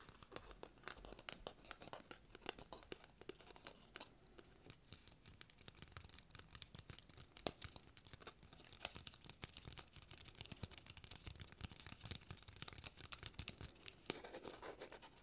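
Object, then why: Small thin cardboard square. A small, thin, solid white cardboard square is held in both hands and scratched and tapped with short nails. The result is a quiet, steady stream of dry, bright scratching with quick, light taps that stop instantly and carry no ring.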